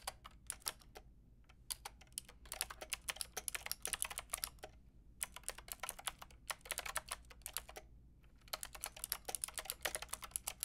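A white and pink Lofree mechanical keyboard with round plastic keycaps is typed on with long painted nails and fingertips. Quick, bright plastic clicks and taps come in bursts separated by brief pauses, each stroke dying away almost instantly over a faint low background hum.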